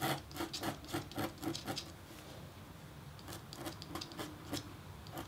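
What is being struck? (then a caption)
Copper-foil scratch-art board scraped with a metal stylus. A metal engraving stylus scratches short strokes across a flat, thin black-coated copper-foil scratch-art board, revealing the copper beneath. The result is a run of quick, dry, bright rasping scrapes with a brief quieter pause midway before the strokes resume.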